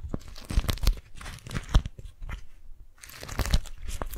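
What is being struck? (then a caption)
Beeswax-coated cotton food wrap. A single orange, yellow and teal beeswax-coated cotton food wrap is balled up in both hands while fingers crumple, squeeze and grip it. The result is irregular bursts of crinkly, sticky crackling with soft low thuds and a brief quiet gap just before the last second of handling.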